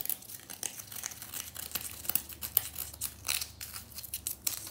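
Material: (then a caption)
Compressed powder. Long nails crumble, scratch and flick a small pink remnant of a solid compressed-powder bath bomb in a bath, sending crumbs falling. Dense, dry, crisp scratching and gritty crackling come in quick bursts, mostly bright with almost no low end. The texture stays soft and close, with short sharper flicks standing out.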